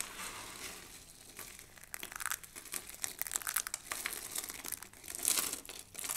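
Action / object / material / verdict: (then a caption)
scrape / pile of soap shavings / soap / none. A pile of dry soap shavings, thin pink and blue shards, is squeezed and crushed in cupped hands, then pinched with the fingertips. The result is a dense, bright, papery crinkling and crunching with little low end. It rises and falls in uneven bursts over about six seconds.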